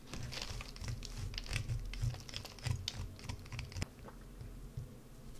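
A wood-handled carving gouge digs and scratches into the top of a solid green soap bar held in one hand, throwing off curls of soap. It makes irregular dry scraping and crinkly, crunching strokes with brief bright ticks, over a steady low rumble.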